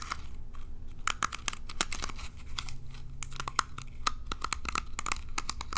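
Long nails strum and scratch the plastic pin bristles of a small rectangular plastic hairbrush held in the hand. A rapid, uneven run of short, dry, bright clicks and crackles, ringing around 1.3 kHz, sits over a steady low hum. Each tick stops instantly.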